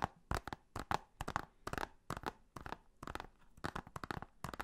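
Fingernails tap and scratch the cover of a blue plastic Blu-ray case held in both hands. The result is a quick, irregular run of short, dry clicks and scrapes with a hollow midrange body and bright edges. The sound is quiet and dies away almost instantly after each tap.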